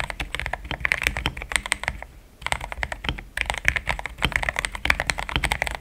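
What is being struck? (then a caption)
Mechanical keyboard with plastic keycaps. Fast fingertip typing on a compact pink-cased mechanical keyboard with thick cream XDA plastic keycaps gives a dense run of short, solid clicks. A bright clack rings near 2.3 kHz, and a brief pause just after two seconds breaks the bursts. Each keystroke dies away almost instantly.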